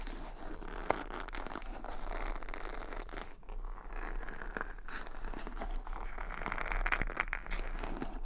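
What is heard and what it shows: A wooden paddle brush is held close with its bristle side up while long nails scratch and flick across the bristles. The result is a steady, dense crackling and scraping texture. Sharp clicks stand out near the start and toward the end.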